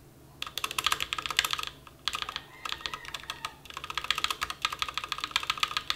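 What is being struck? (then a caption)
Plastic mechanical keyboard. Fingertips type quickly on a full-size, white-cased mechanical keyboard with black and white plastic keycaps and a hollow case, resting on a bare grey desk. Bursts of sharp, bright, clacky key taps run through the clip, broken by short pauses. Each tap dies away almost instantly, with very little low end.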